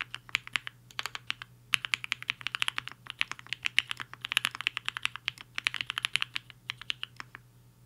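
Fingertips of both hands type on a black-cased HI-FINGER 7.5, a 75% mechanical keyboard with a hollow case and white and pink plastic keycaps, resting on a desk mat. The result is bursts of short, crisp, bright clacks with brief pauses between runs, centred near 2.9 kHz, over a faint low hum.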